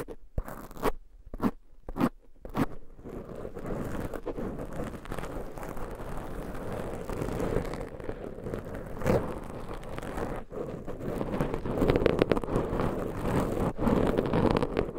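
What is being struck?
Foam microphone windscreen.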